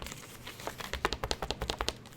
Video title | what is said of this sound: SwordBuy.com Yatagan Sword Review | give it a little bit of a shake it rattles as well